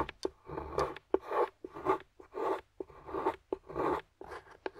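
A metal carving tool scrapes and carves curls off a flat, solid dark chocolate bar lying on a white surface while long-nailed fingers hold the bar steady. Short, sharp clicks alternate with longer, dry, rasping scraping strokes in an uneven rhythm, with most of the sound in the mid range.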